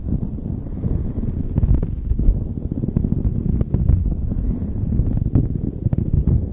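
Long acrylic nails and fingertips scratch and rub a light blue knit beanie pulled over the microphone, which sounds soft and hollow. The result is a continuous, muffled, low rumbling rustle, with scattered brighter scratchy ticks poking through.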